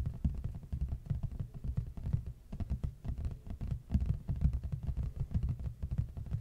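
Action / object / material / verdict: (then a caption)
tap / large flat cardboard box / cardboard / none. Fast fingertip tapping and scratching with both hands on the front face of a large, flat, hollow red printed cardboard box held upright facing the mic. It makes a dense run of quick, dull, low thuds with a soft scratchy patter, and each tap stops almost instantly.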